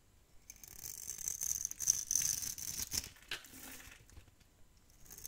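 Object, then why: Soap bar scraped with a metal blade. A metal blade scrapes across an old, solid tan dry soap bar held in the hand, shaving off crumbly flakes. The sound is crisp, bright and papery, with uneven scratchy strokes that rise in the middle and fade toward the end.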